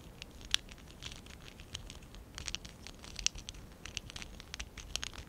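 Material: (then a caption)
Plastic. Fingertips and short nails rub and scratch the studs and sides of a small stack of small, hollow pink and dark blue ABS plastic Lego Classic 11017 bricks held in both hands. The result is quiet, bright scratching and rustling, broken by many sharp, high plastic clicks that stop instantly.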